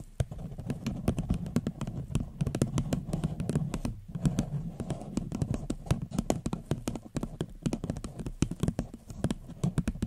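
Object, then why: Paper cup. Long fingernails tap rapidly and steadily on a small, hollow, empty floral paper cup turned upside down. The taps make dull, low, hollow thuds with short, crisp clicks that die away at once, pausing briefly around the four-second mark before continuing.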